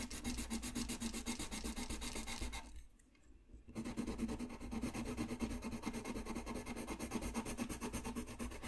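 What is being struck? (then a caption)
Colored pencil on thin paper. A colored pencil rubs back and forth on a thin white paper coloring sheet lying flat on a desk, coloring in a small area. Fast, steady scratchy strokes fill the clip, then stop briefly for about a second near the three-second mark before starting again.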